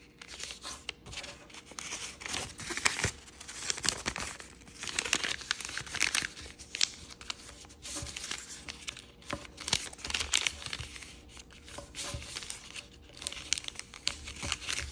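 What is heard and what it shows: Thin origami paper with a pink-and-yellow heart pattern is folded and creased with fingertips on a wooden table. Steady, bright crinkling and rustling runs throughout, broken by crisp little snaps and scrapes as the folds are pressed down. There is very little low end.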